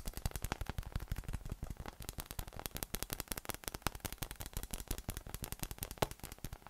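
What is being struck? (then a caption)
Inflatable PVC massage ball. A yellow inflatable PVC massage ball with nubs, hollow, air-filled and about 20 cm across, first resting on a table and then held in one hand, is tapped rapidly with fingertips. Around fifty quick, dull, hollow taps follow in a steady patter, mostly low and thumpy with a light bright click on top. Each tap dies almost instantly with no ring.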